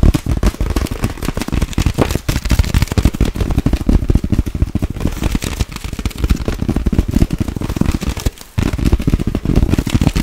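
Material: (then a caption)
Plastic. Long nails tap fast on a clear inflated plastic air pillow held between both hands. The result is a dense, rapid stream of short, dull, low thumps with crackly edges, with a brief pause near the end before the tapping resumes.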